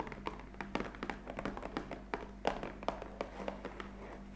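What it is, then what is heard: Cardboard box of coffee capsules. Long fingernail tips tap rapidly on the top face of a black printed cardboard coffee capsule box lying flat, hollow and likely filled with capsules. Each tap is a short, dry, hollow click with a papery midrange knock that dies away almost instantly, repeating in an uneven quick rhythm. A faint steady low hum runs underneath.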